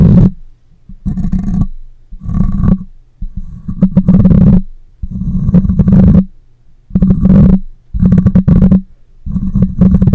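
Fingernails scratch the top of a black microphone's metal mesh grille and a hand rubs over it, producing eight close, loud bursts of deep, rumbling, crackly friction noise. Each burst centers on a low hum-like tone with a thin ringing band above it, and short near-silent gaps fall between them.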